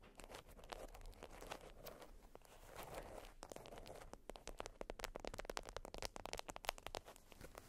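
A flat, folded beeswax wrap of wax-coated cotton is scratched and scraped with long acrylic nails. Soft, sticky crinkling and rasping scrapes come first, then a run of sharper, bright clicks and crackles grows denser toward the end.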